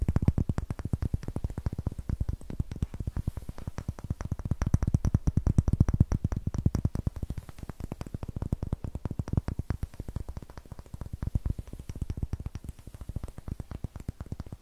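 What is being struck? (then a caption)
Raw pine wood block. Long painted nails rapidly tap and scratch the faces and edges of a solid, palm-sized block of light raw pine wood with a rough greenish end face, held in one hand close to the mic. The result is a dense, continuous stream of short, dry, low thuds with very little ring and faint scratchy detail on top.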